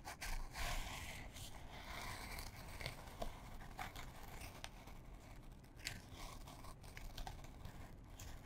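A small printed canvas fabric pouch, held in both hands, is scratched with long fingernails. The result is a quiet, steady run of dry, irregular scratching and rustling strokes with a bright, grainy texture over a soft low rumble.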